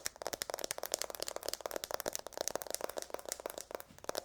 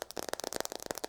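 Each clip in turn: First: A fast flurry of crisp fingernail clicks on a phone's metal back, each with a faint high tone. Second: Rapid fingernail taps on a phone's glass back give short, clicky, mid-pitched knocks with a faintly hollow tone.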